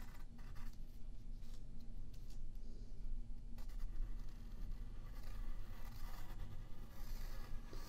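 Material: Paper.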